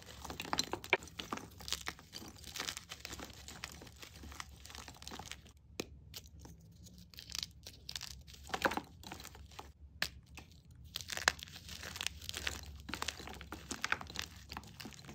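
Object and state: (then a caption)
Gym chalk blocks being crushed. Bare fingers squeeze and crush green-dyed gym chalk (magnesium carbonate) blocks and chunks in a bowl, breaking the solid, crumbly pieces into powder. Dense, dry crunching and crumbling crackles fill the clip, with a quieter stretch around the middle before the crushing picks back up. The chalk grinds down into powder.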